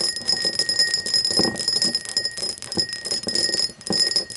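Long nails tap the faceted sides of an empty, hollow cut-crystal glass tumbler standing upright. The result is a quick, continuous run of ringing clinks with a steady high, bright tone and a lower steady ring beneath it. Each clink dies away quickly.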